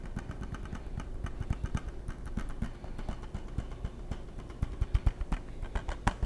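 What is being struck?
Plastic game case.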